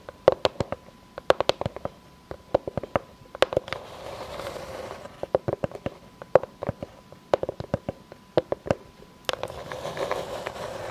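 Long fake nails tap and scratch the face and rim of a solid, round board of light unfinished pine with knots, held upright. Quick clusters of dry, short woody taps with a hollow knock around 540 Hz are broken by stretches of bright, rough scratching near the middle and at the end.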